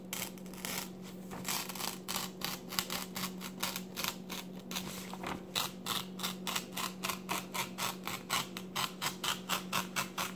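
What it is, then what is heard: Paper magazine pages. A hand lifts and flips the glossy pages of an open paper magazine lying on a table while the other hand rests on the pages. The result is a run of short, bright, crisp rustles and flicks that become quicker and more evenly spaced toward the end, over a steady low hum.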